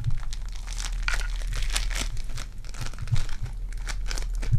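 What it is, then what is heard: Foam bead clay. Purple foam-bead clay is squeezed in both hands with long dark nails and pulled apart. It gives a steady run of close crinkling, crunching and sticky tearing sounds over a low, constant rumble.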